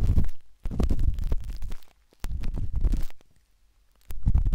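A metal-tipped dot stick with a wooden handle scratches inside the soft, hollow canal of a pinkish-white silicone ear on a binaural microphone. Close, muffled scraping and rubbing comes through as deep, rumbling low-end bursts with almost no high sound. Four dense stretches of scratching are separated by short quiet gaps.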